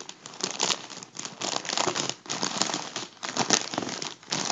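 Fingers crinkle and rub the thin foil of a hollow, deflated section of a gold mylar foil balloon. Bright, dry crackling rises and falls in short bursts with brief quieter gaps between, with almost no low end.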